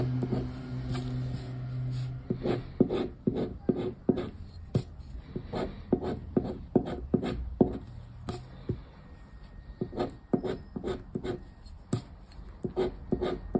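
A round black plastic scraper scratches the star panels off a thin coated-paper 100X scratch card held with fingertips on a wooden table. A quick series of short, dry scraping strokes sounds over a low background hum that fades after the first few seconds.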